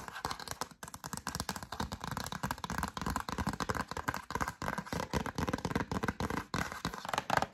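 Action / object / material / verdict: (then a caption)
tap / cardstock greeting card / cardstock / none. A yellow cardstock greeting card, held in both hands, is tapped and scratched across its surface with long acrylic nails. The sound is a dense, rapid run of dry, crisp clicks and papery scratches with very short decay, fairly steady in loudness throughout.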